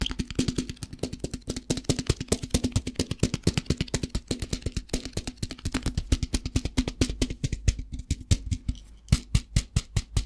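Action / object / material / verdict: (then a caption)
tap / plastic tub filled with rice / plastic / none. A plastic tub filled with rice, held in both hands, is tapped on its sides with the fingertips in a fast, steady stream of dozens of short, dry knocks. Each tap is deep and hollow with a quick, clicky top and almost no ring, and the tapping grows sparser and more spaced out near the end.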